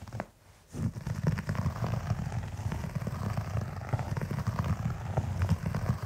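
Fingertips and short nails of both hands scratch across the fibers of a large beige synthetic carpet pile. After a brief quiet pause near the start, a dense, low, rumbling scratch with soft crackles carries on steadily to the end.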